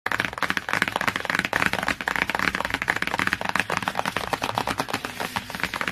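Long fingernails and fingertips quickly tap and scratch the glossy printed cardboard cover of a large hardcover children's encyclopedia, "My Very First Encyclopedia," lying flat. A dense stream of sharp, dry clicks runs throughout, mixed with brief scratchy sweeps.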